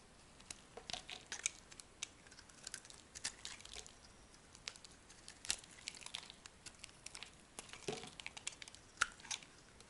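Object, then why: Bar of soap cut with a small knife. A small metal knife blade cuts and shaves a palm-sized, hand-held bar of dry, soft pink-and-white striped soap, peeling off curled slices. The result is quiet, crisp, bright crackling and scraping, with many short ticks and small crunches that stop almost instantly.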